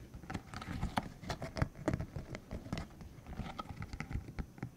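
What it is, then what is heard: Spiky silicone tube. A green hollow silicone cylinder about 15 cm long with rubbery spikes is held in the hands while its spikes are flicked, squeezed and rubbed with fingertips. This gives a quiet, uneven patter of about nineteen soft, dry rubbery taps and crackles that stop short, with a muffled low body and only faint bright edges.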